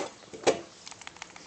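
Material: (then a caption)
Steel. A steel Colt XSE 1911 pistol is shaken, and its frame and slide rattle slightly from a loose slide-to-frame fit. One louder metallic clack is followed by a run of faint, quick clicks. The looseness is judged not to affect accuracy.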